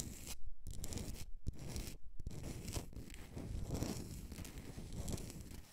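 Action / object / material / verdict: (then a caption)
scrape / rock-salt candle holder / rock salt / none. Long nails scratch and tap the rough crystalline surface of a solid, hand-sized pink rock-salt block, a Himalayan salt candle holder. The result is a dense, dry, gritty scraping with short tapping clicks and a few brief pauses, its energy weighted toward the low end.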